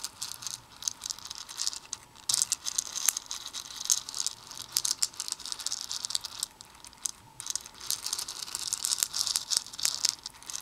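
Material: Plastic.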